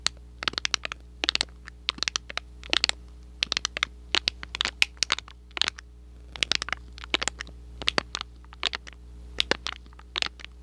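Fingertips and short nails scratch and crinkle a small, thin red-and-white printed cardboard box, hollow and partly flattened, held close to the microphone. Dozens of dry, bright, crackly scratches come in quick clusters, each dying away almost instantly over a faint steady low hum.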